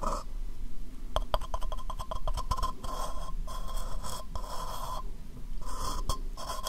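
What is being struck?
Small plastic cup.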